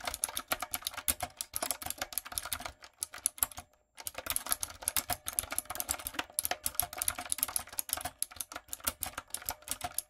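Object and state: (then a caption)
Mechanical keyboard with plastic keycaps. Fingertips and long coffin nails type rapidly on a typewriter-style backlit mechanical keyboard with round brown plastic keycaps on a dark frame. The result is a dense stream of sharp, bright plastic clicks and clacks with very little low end, pausing briefly just before the four-second mark before the fast tapping resumes.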